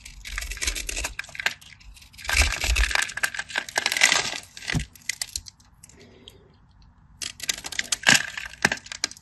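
A craft knife blade cuts and scrapes crumbly cubes off the surface of an already scored, solid cream bar of soap held in the hand. Dense, bright, crisp scratching and crackling comes in bursts of rapid small clicks, with a quieter pause in the middle before the scraping resumes. Each cut is dry and short, with almost no ring.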